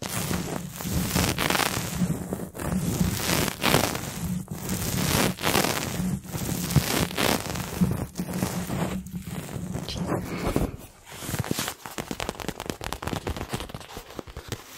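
Fingernails tap and scratch a small pink and purple printed faux leather toy ball with a label, held close to the microphone. For about the first ten seconds, slow, crackly scratching strokes rasp across the surface. The sound then shifts to a quicker flurry of light, dry taps and rustles.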